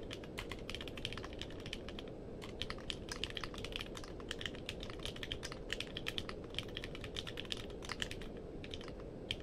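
Fingertips type steadily on a compact mechanical keyboard with a purple case and plastic keycaps. The result is a quick, irregular stream of short, crisp, bright clicks, peaking around 3 kHz. The clicks sit over a constant low-frequency rumble for about nine and a half seconds.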